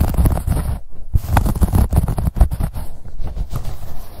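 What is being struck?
Corduroy fabric pouch.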